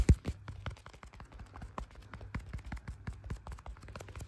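Black leather-gloved fingers tap quickly on the back of a clear plastic case holding a blue iPhone. The taps are short, dull and low-pitched with almost no ring, starting with one louder knock and then continuing as a steady, uneven patter.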